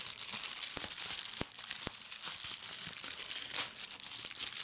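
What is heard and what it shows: Clear plastic bubble wrap bunched in one hand is squeezed by fingertips and long red nails, crumpling it while popping bubbles. A steady, bright crinkling hiss runs throughout, broken by sharp, short pops.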